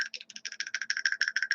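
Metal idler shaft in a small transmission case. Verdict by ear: Loose.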